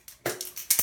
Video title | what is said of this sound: How to make a top knot bun | shake it up make sure you hear the little bead in the bottom